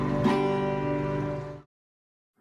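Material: Nothing is struck.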